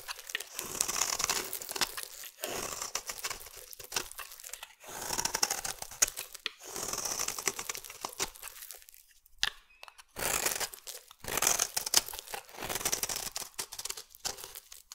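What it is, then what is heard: Bar soap being carved. A metal blade slices flakes from a solid green bar of soap, making crisp, bright scraping and crinkling strokes in repeated bursts with short pauses between them. The sound is dry and airy with almost no low end, and each cut stops quickly with no ring.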